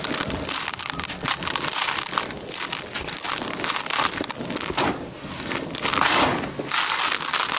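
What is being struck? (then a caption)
Crushed concrete grit in a plastic tub. Fingertips and palms scoop and crush dry grey concrete grit in a plastic tub, and the grit sifts out of the hands. A dense, continuous bright crunching and crackling rises and falls throughout, with very little low end.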